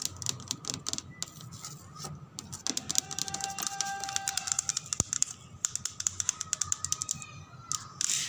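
Fingertips or nails rapidly tap and scratch on a car body, giving a dense run of sharp, bright clicks that sound much like typing. The clicks die away instantly, with soft scratching and a faint steady tone between them.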